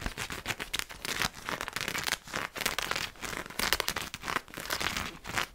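A black fabric strap with a purple print, hanging from a black nylon parka, is held up and scratched with fingertips and nails. It makes a continuous run of dry, bright, crinkly scratching bursts that rise and fall quickly, with little low-end body.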